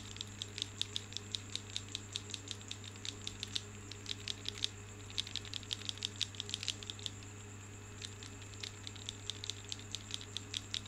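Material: Marble.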